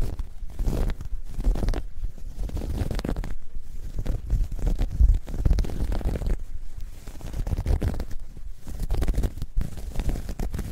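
Long nails scratch and grip the knit surface of a soft, hollow, dark grey ribbed knit fabric bag held up in both hands. The result is a dense, muffled, low rumbling scrape that swells and eases in waves, with almost no bright or high content.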